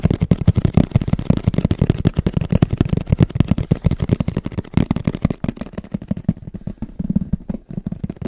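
Fingertips and nails tap quickly on the surface of a medium-sized, hollow, black printed Sony camera cardboard box held in both hands. The result is a rapid, continuous run of short, dull, low-pitched thuds that stop dead with no ring.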